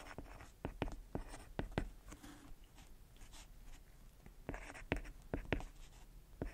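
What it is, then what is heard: Stylus tapping and scratching on a glass tablet screen. A hand writes equations with a white plastic stylus on the flat, solid glass touchscreen of a tablet. Many small, sharp tip taps mix with soft scratching strokes across the glass. The sounds are quiet, dry and close, dying away almost at once.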